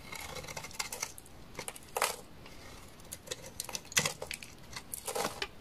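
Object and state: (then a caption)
Dry laundry soap scraped with a blade. A utility knife blade scrapes a large, solid, beige bar of dry laundry soap stamped with a leaf pattern, shaving it into curls. Short, dry, crackly scrapes and crisp snaps come in quick bursts, bright and papery with little low end, and each dies away almost instantly.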